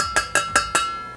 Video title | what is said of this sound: Should You Buy? Buffalo 26cm Stainless Steel Stock Pot | when you guys do tap it, you guys can definitely hear that it is a high quality material